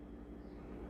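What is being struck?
Nothing is struck.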